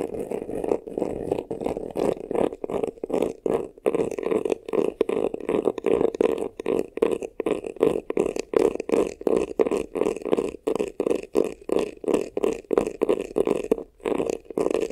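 Fingernails rapidly scratch the upper front of a medium black, glossy, croc-embossed faux-leather vanity case, a hollow box. The clip is a dense run of quick, rough, irregular scraping strokes with a hollow mid-range body around 440 Hz and only brief gaps between them.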